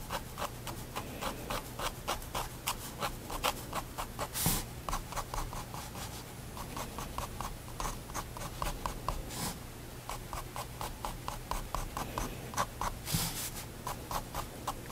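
A pigment liner pen makes repeated short strokes on a white spiral paper sketchbook resting on a wooden desk. A quick run of crisp scratching ticks is heard, with a few longer, brighter strokes and a steady low hum underneath.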